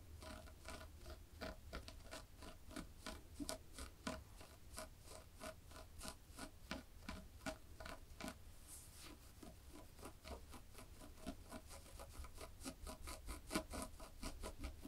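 Black and white textured knit fabric is scratched with long fingernails and clawed fingertips, giving a quiet run of short, dry, bright scratching strokes at an uneven pace. A steady low hum sits underneath throughout.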